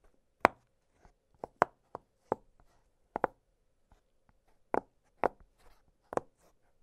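Fingertips press and pop the hollow bubbles of an octagonal blue silicone pop-it fidget toy lying flat on a glittery surface. Eleven short, dry, clicky pops come at an irregular, unhurried pace, with a mid-range snap centered around 690 Hz. Each pop dies away almost instantly over a faint steady background.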